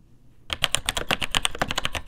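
After about half a second of quiet, fingertips type quickly on the plastic keycaps of a vintage beige plastic full-size keyboard with Taiwan Jet linear mechanical switches in a hollow case with no plate. About fifteen sharp, bright key clacks follow in a rapid run, each dying away almost instantly, with a hollow low thump beneath them.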